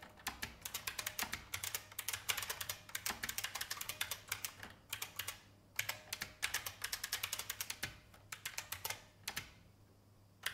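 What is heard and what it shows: Fast fingertip typing on a vintage beige IBM mechanical keyboard with plastic keys. It produces rapid bursts of bright, crisp clacks with very short decay and little low end. The typing pauses briefly near the middle and again just before the end.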